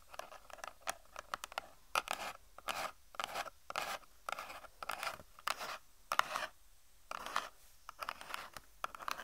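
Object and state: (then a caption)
Cardboard product box. A small, hollow white-and-pink cardboard cosmetic box is held in both hands and tapped and scratched with long painted nails. Short, dry scratching bursts and light taps come in quick irregular clusters, bright in the midrange with almost no low end. The sound stops dead after each stroke, with no ring.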